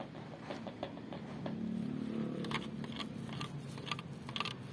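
A large blue painted steel car body panel, either a hood or a door, made of hollow sheet metal, is knocked and tapped with knuckles and fingertips. The taps are short, irregular, dull knocks with a brief metallic ring, heard over a steady low background hum.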